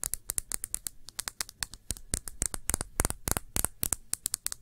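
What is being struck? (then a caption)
Small thick-bottomed glass shot glass. Long nails tap a small, clear, thick-bottomed glass shot glass, hollow and empty and held on its side. About 31 quick, irregular taps give bright, sharp clicks with almost no ring, over a faint low rumble.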